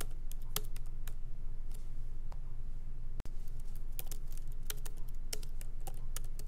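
Both hands type lightly with the fingertips on a MacBook Pro laptop's plastic keycaps, set in an aluminum body, while it rests on a wooden desk. Quick, irregular, bright clicking taps run over a steady low hum, with a brief dropout near the middle.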